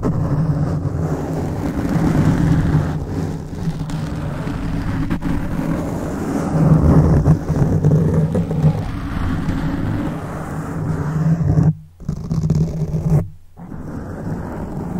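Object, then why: Foam microphone windscreen. Fingertips scratch and rub a black foam microphone windscreen, making a dense, muffled low rumble with rough scraping texture. It sounds like heavy wind or distant traffic. The rubbing briefly cuts out to near silence twice near the end before resuming.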